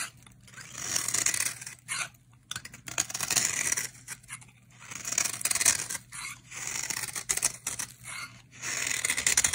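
A utility knife blade shaves curls off the edges of a solid, dry orange bar of soap held in the hand. Repeated bright, crisp scraping strokes come in bursts, with short quiet gaps between them.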